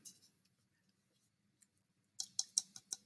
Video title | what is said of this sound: Clay Intro Junior High | it sort of sounds plasticky